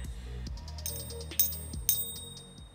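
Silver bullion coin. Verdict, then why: Real. A one-troy-ounce American Silver Eagle coin, balanced on a fingertip, is struck twice for a ping test over quiet background music. Each strike gives a bright, very high-pitched ring that sustains for the rest of the clip. The long ring indicates real silver, consistent with the coin having already weighed exactly one troy ounce on a scale.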